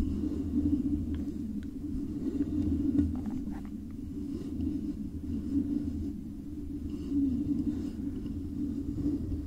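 Both hands tap and scratch the sides of a silver metal microphone body covered with stickers, using long pale nails. The result is a continuous, muffled rumbling scratch concentrated in the low and low-mid range, with a deep droning hum and only a few faint, brief ticks on top. The level swells and eases gently throughout.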